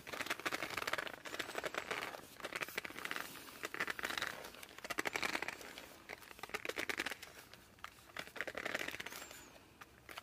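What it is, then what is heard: Laminated cardboard board book. Palms and fingertips grip and rub the laminated cover of a cardboard board book held upright. The result is bright, squeaky, crinkling friction that swells and fades in repeated waves, with almost no low end.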